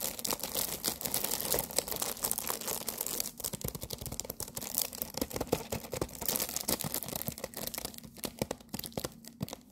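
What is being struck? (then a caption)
Cardboard tea box wrapped in plastic film. Long nails rapidly tap and scratch a medium rectangular green tea box with a lemon print, made of cardboard wrapped in cellophane and apparently full of tea bags. The result is a dense stream of dry, bright crinkling clicks and scrapes with no ring, fading slightly toward the end.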